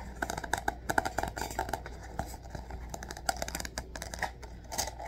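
A hand-sized spiral-bound notebook with a glossy dark blue plastic cover and metal wire binding is held in both hands while fingertips and nails scratch and tap the cover. Quick, dry clicks and crisp scratches come in uneven bursts, with a mid tone near 785 Hz and a bright edge, over a low steady hum.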